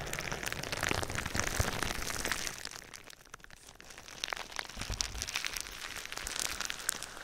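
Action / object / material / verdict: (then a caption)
scrape / plastic bubble wrap / plastic / none. Fingertips and nails tap and scratch across clear plastic bubble wrap wrapped around a hollow-form binaural microphone. It gives a dense, bright crackle of quick taps and crinkly scratches. The sound drops quieter midway, then builds back up.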